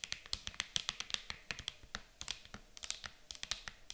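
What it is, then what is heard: Empty clear plastic case tapped with nails. Long acrylic nails tap fast on the lid of an empty, clear hard plastic game case lying flat, giving about 26 quick, typing-like clicks over four seconds. Each tap is a bright, dry click with almost no low end and no ring, irregularly spaced and varying a little in loudness.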